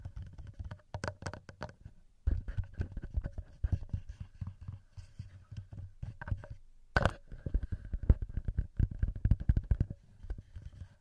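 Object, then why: Metal microphone capsules of a handheld recorder. Fingertips tap directly on the two small cylindrical metal microphone capsules of a handheld recorder. The result is a dense run of short, boomy low thumps and soft knocks in quick clusters, with a few sharper, brighter clicks and a faint steady hum underneath.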